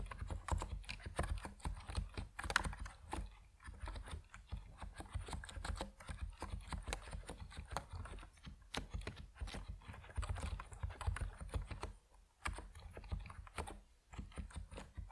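Fingertips of both hands type steadily on an Epomaker NiZ Plum Atom 68, a 68-key compact mechanical keyboard with white and purple PBT plastic keycaps, resting on a wooden desk. The keystrokes come as a rapid, uneven stream of short, dry clacks with a deep thump underneath, broken by a few brief pauses.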